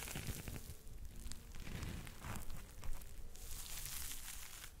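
A yellow and pink smiley-face foam scrub sponge is squeezed in a fist and scratched with fingertips close to the mic. The result is a steady, dense crackling and crinkling rustle that is dominated by low, muffled rumble, with brief brighter scratchy bursts throughout.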